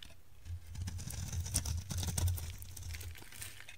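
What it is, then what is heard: Dry soap bar being carved. A utility knife blade scrapes and carves the surface of a solid, dry orange soap bar, breaking off crumbly chips. A steady run of dry, crunchy scraping crackles with bright crisp edges rises and falls over a low, dull rumble beneath. It swells toward the middle before easing off.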